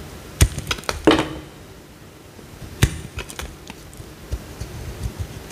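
A small, solid green bar of soap is held in the hand and carved with a metal utility knife blade, peeling off flakes. Sharp, dry clicks and short scrapes sound as the blade cuts, the loudest near the start and again just before the three-second mark, with one followed by a brief low ringing tone. Softer, scattered cuts continue over a quiet, hissy background.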